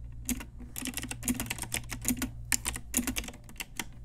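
An Ajazz pink typewriter-style retro plastic mechanical keyboard with round plastic keycaps is typed on with long nails and fingertips. It makes a quick, uneven run of sharp, bright clacks with short decays over a faint steady low hum.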